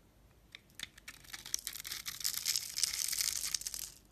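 A metal blade slices small cubes off a solid purple bar of soap that has been scored into a grid and is held in the hand. A few sharp, isolated crunches at first give way to a dense, steadily louder run of crisp, bright crunching and scraping, then fade at the end.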